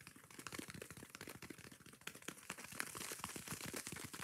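Long nails scratch rapidly across the yellow foam face of a kitchen sponge, then across its green abrasive scouring pad. The result is a quiet, dense run of short, bright, crinkly scratches and crackles with no ring, growing slightly louder and harsher toward the end.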